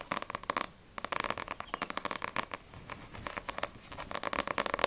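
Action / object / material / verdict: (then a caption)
tap / paperback book with glossy paper cover / paper / none. Long nails tap rapidly on the glossy paper back cover of a small, solid paperback manga, No.6 volume 2, producing bright, dry clicks with a short pause in between. The book is then turned with a soft rustle, and the front cover is tapped in another fast, crisp run.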